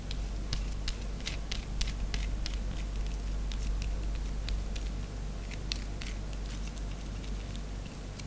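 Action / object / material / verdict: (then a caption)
scrape / bar of soap / soap / none. Long nails rapidly scratch a small pink bar of solid soap, and shavings fall onto the tray. Quick, irregular, bright scratchy clicks and crackles sound over a steady low hum throughout.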